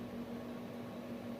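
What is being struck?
Nothing is struck.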